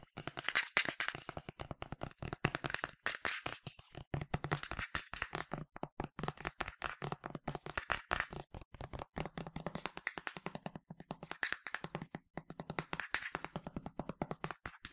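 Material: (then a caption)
Plastic. Fingertips and nails tap fast on the body and translucent cap of a medium yellow plastic sunscreen spray bottle, hollow and partly filled. A dense stream of short, dry clicky taps with a hollow low body and bright edges runs throughout, pausing briefly near the middle before continuing at the same rapid pace.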